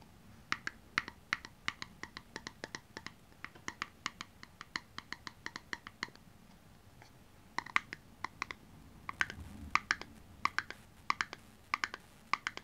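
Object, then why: Small clear plastic tub. Long purple-painted nails tap and scratch the sides and bottom of a small, round, empty, hollow clear plastic slime tub held in the hand. Quick, crisp, bright clicks come in uneven bursts with short pauses. Light scratchy rustles sound between them.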